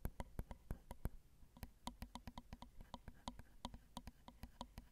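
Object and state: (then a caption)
Metal mesh microphone grilles tapped with nails. Long acrylic nail tips tap the small hollow metal mesh grille capsules of a Zoom recorder's XY microphone, set on a plastic/metal housing. About 28 quick, dry taps land in an uneven rhythm, each a dull low thump with a bright clicky edge that dies almost at once, with a brief pause just after the first second.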